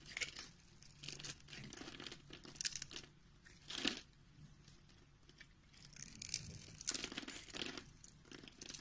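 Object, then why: Bar of soap cut with a knife blade. A palm-sized solid pink soap bar, pre-scored in a grid and held in the hand, is carved and scraped with a utility knife blade that cuts off small cubes. The sound is a run of crisp, bright scraping and crunchy cutting bursts with a dry tearing texture and very little low end. Quieter stretches of soft scraping fall between the louder cuts.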